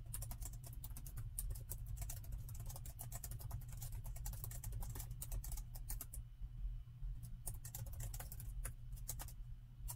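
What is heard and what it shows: Plastic chiclet keys on a plastic laptop keyboard are typed rapidly with the fingertips of both hands. The result is a dense run of short, bright clicks over a steady low hum, with a brief slowdown just after the sixth second before the fast typing resumes.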